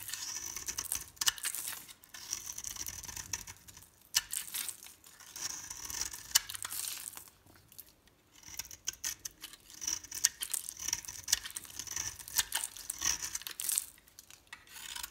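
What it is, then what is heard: Bar soap being shaved. A metal utility blade shaves crumbly flakes off a solid pink and green bar of soap held in the palm. It makes bright, crisp scraping and crinkling strokes in bursts, with brief quiet pauses between runs.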